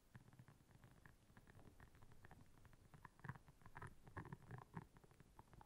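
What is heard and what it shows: Long nails scratch across the soft bristles of a round, flat, blue silicone scrubber pad lying on black fur. The result is a quiet, dense run of soft, rubbery scratches with a low, rumbling body, broken by brief brighter clicks that swell louder toward the middle of the clip.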